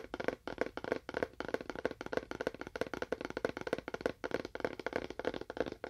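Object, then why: Small empty cardboard box. Fingernails tap quickly on a small, hollow, seemingly empty rectangular cardboard box with a wood-grain print, held in both hands and moved to one side of the mic. About 23 dry, clicky taps with a hollow mid tone near 470 Hz come in an uneven rhythm of roughly three per second, each dying away almost at once.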